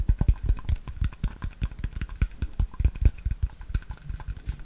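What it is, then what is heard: Plastic water bottle. A clear, hollow, empty plastic water bottle is held upright near the microphone and tapped and scratched with the fingertips. A rapid, uneven string of short, dry taps is heard, each a deep, muffled thud with almost no ring, and faint scratchy rustle between them.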